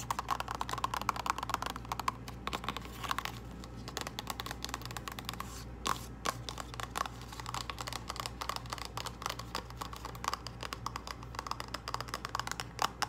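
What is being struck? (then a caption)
Small cardboard box tapped with fingernails. Long acrylic nails tap quickly along the edges and faces of a small, hollow purple cardboard false lash box. The result is a steady stream of short, dry clicks with no ring, over a faint low hum.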